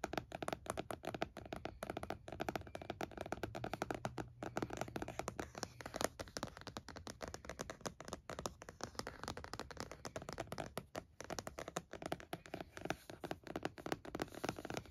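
Fingertips and short nails tap quickly on the lid of a closed laptop fitted with a purple matte plastic snap-on case with stickers, lying on a towel. The result is a fast, continuous stream of dry, hollow, clicky plastic taps with a mid-range tone and almost no ring.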